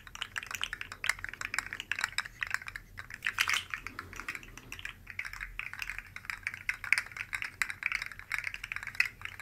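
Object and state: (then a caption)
Plastic articulated slug toy. Two identical rainbow-colored articulated plastic slug fidget toys made of hollow segments are held one in each hand by the tips and shaken and wiggled close to the mic. The segments make a dense, continuous stream of quick, dry clicks and rattles centered around 2 kHz with bright high edges, each click dying away almost instantly. Louder bursts stand out here and there.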